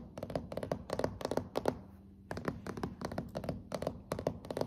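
Fingertips and long nails tap on solid, glossy dark hardwood floorboards. About 21 quick, dry taps come in short clusters with a mid-toned knock around 600 Hz and almost no ring, separated by a brief pause near the middle.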